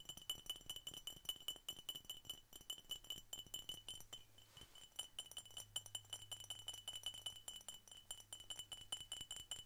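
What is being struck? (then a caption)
Glass soda bottle. Rapid, irregular tapping on a glass Coca-Cola bottle produces a steady stream of bright, clinking glass taps. Each tap rings briefly at a high pitch of about 3 kHz.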